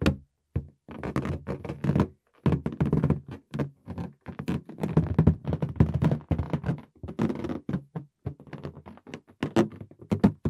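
Fingertips tap and patter on the surface of a green inflated latex balloon, hollow and air-filled, held in both hands. Soft, dull, low thunks come in quick irregular bursts with brief pauses between them, each tap dying away almost at once with little ring.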